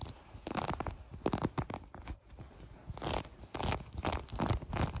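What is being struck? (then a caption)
Fleece sweatpants. Long nails scratch a mint green fleece garment, sweatpants with a drawstring and a gathered waistband. The scratching comes in quick, rasping bursts of soft, crackly friction with a low, muffled body. Each stroke stops dead, with no ring, before the next one starts.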